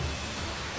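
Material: Nothing is struck.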